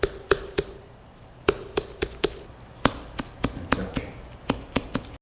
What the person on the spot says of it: 퉁퉁 소리가 나면 잘 익은 메론입니다. 통통 소리가 나면 아직 덜 익은 상태가 되는 거죠.